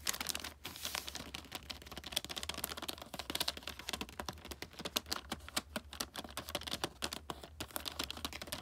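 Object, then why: Glossy paper-wrapped gift box. Long nails tap and scratch across the creased red glossy wrapping paper of a flat wrapped gift, making a rapid, continuous run of sharp, crisp clicks and papery crinkles. The sound is dry and bright with almost no ring, over a faint steady low hum.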